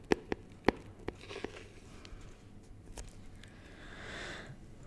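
Fingertips tap and scratch the lid and sides of a small, clear, rigid plastic box filled with honeycomb as it is moved beside the mic. A few sharp, dry clicks come in the first second, followed by quieter crinkly scratching and a soft, bright rubbing swell near the end.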